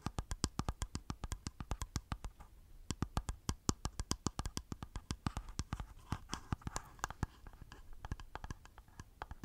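Fingertips and nails of one hand tap rapidly on the lid of a small, round, hollow black plastic face powder jar held in the other hand close to the mic. About 55 short, dry clicks with a hollow low knock and bright nail ticks follow in an uneven rhythm, with a brief pause near the three-second mark. Each tap dies away almost instantly.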